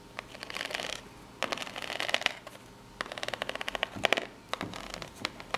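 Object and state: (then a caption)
Corrugated cardboard box scratched. Long natural nails scratch up and down the ribbed face of a small rectangular corrugated cardboard box held in both hands. Bursts of dry, bright, rapid ticking scrapes rise and fall, separated by brief quiet pauses, with almost no low end.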